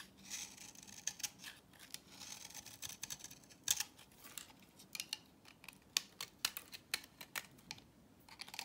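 A utility knife blade shaves the flat face of a solid orange dry vintage soap bar held in the hand, building up fine dry powder on the blade. The result is a quiet, uneven run of short, crisp scraping ticks and crackles, bright and dry, with almost no low end and no ring after each stroke.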